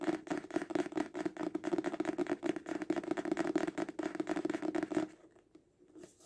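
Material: Paper.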